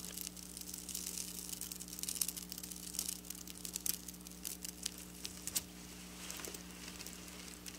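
Long black nails slowly scratch and trace along the rows of draped silver sequin fabric, making a soft, bright crackling and rustling with many small sharp clicks. A steady low hum runs underneath throughout.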